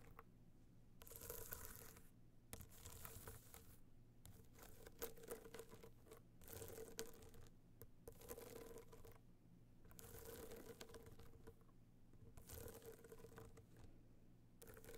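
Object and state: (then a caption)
Hard-shell box clutch being scratched. Long nails tap and scratch a small, rigid, hollow gold hard-shell box clutch covered in metallic material with raised dots as it lies on fur. Bursts of dry, crinkly scratching with a faint hollow ring alternate with quieter pauses, and a soft low rumble sits underneath throughout.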